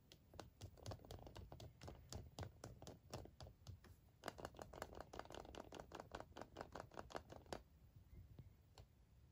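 An unwrapped, hollow, about hand-sized milk-chocolate Kinder Surprise egg, held in both hands against a table of wrapped eggs, is handled and tapped with fingertips and nails. This produces a rapid series of sharp, dry clicks with a hollow tone around 680 Hz and a low rumble underneath. The steady tapping stops at about 7.6 seconds, leaving only a few faint taps.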